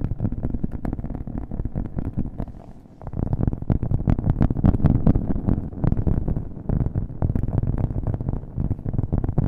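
A round, flat, solid cork coaster held close to the mic is tapped rapidly with fingernails, with an echo effect added. The taps are dull, low and thumping with almost no high end, running in a dense, continuous patter that briefly softens near the three-second mark before picking back up.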